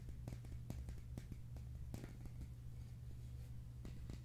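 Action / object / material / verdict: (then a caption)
tap / plastic tube container / plastic / none. A slim, hollow red plastic tube container is held in the hands and tapped and scratched with fingertips and nails. Quiet, short, dry clicks and taps with brief bright edges sit over a steady low hum.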